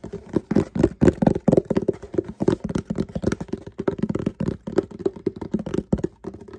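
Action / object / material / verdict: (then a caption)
tap / closed cardboard shipping box / cardboard / none. A medium, hollow, closed Walmart cardboard shipping box, held in both hands, is tapped and scratched with fingertips and short painted nails. A rapid, steady run of dull, hollow knocks sits in the low-mid range with little high-end, each dying away almost instantly, with softer scratching between them.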